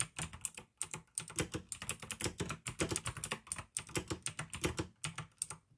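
Fingertips type continuously on a pink AUKEY plastic mechanical gaming keyboard with blue switches. The result is a rapid, steady run of short, crisp clicks with bright high ticks over a low thock from each key, broken by brief pauses between bursts.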